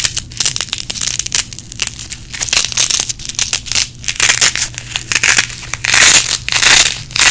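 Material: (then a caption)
Nylon. A small red nylon Velcro hook-and-loop strap is folded and peeled apart over and over by fingers with long nails. Each pull makes a bright, crackling rip, coming in quick irregular bursts, with longer, louder tearing toward the end.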